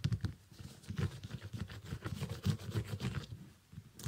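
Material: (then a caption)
Synthetic leather. Fingernails scratch and tap the upper and sole of a small, empty, shiny iridescent synthetic leather sneaker. The result is a soft, irregular patter of short, dull taps with low thumpy body and faint bright scratching between them.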